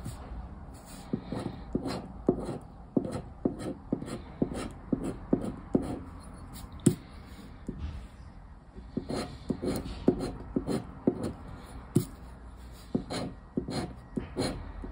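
A black plastic disc scraper scratches the remaining latex panels of a thin paper scratch card lying flat, making quick, short strokes. Dry, scraping rasps with a low papery body and brief bright hiss come in bursts, with a short pause partway through before the strokes resume.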